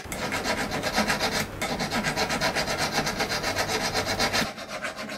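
A thick solid silver ring band, held by fingers against a wooden bench pin, is scraped with a steel hand file. Quick, steady rasping strokes of about four per second give a bright, gritty scratching sound, with a brief dip just before the midpoint. The filing eases off near the end.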